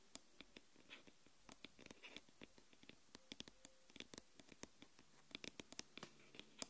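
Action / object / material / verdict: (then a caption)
tap / aluminium smartphone back tapped and scratched with fingernails / aluminium / none. Long nails tap and scratch the solid aluminium back of a smartphone lying face down. Many quick, quiet clicks and short scrapes come in irregular bursts, bright and sharp with almost no ring after each touch.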